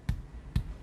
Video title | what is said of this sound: MANSYUR RESIDENCES DAN RUSAKNYA RUMAH-RUMAH WARGA | kita ketuk saja seperti di dalam kopong atau kosong